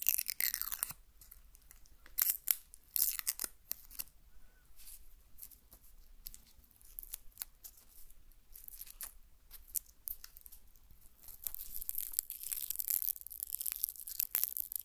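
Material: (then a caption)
Onion skin. A whole, solid brown onion is held near the recorder while long fingernails scratch and pick at its dry, papery skin. Quiet, bright crackling, tearing and crunching sounds come in many short, irregular bursts. Louder clusters occur near the start and again toward the end.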